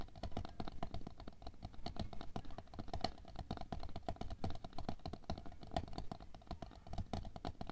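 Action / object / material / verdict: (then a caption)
tap / plastic container filled with water beads / plastic / none. Long nails tap quickly along the side of a tall, clear, labeled plastic container full of red aqua pearls (water beads) lying on fur. The result is a fast, steady patter of short, dry clicks with a soft low thump beneath them, each tap dying away almost instantly.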